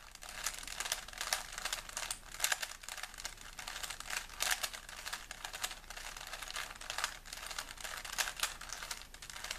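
A small solid plastic 3x3 Rubik's cube is held in both hands while fingertips rapidly twist its layers. The result is a dense, continuous run of bright plastic clicks and rubbing with very little low end and no lingering ring.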